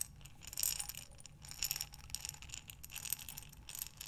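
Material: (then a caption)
Glass. A glass mason jar with a metal lid, full of buttons, is tilted and turned by hands with long nails. The buttons slide and clink against the glass in bright, rattling bursts with short, quickly fading clicks and little low end.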